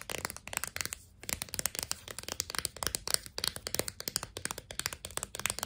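Long nails tap rapidly on a clear plastic blister pack holding four sticks of sidewalk chalk on a cardboard card. The result is a fast run of crisp, bright, dry clicks, with a brief pause around the one-second mark.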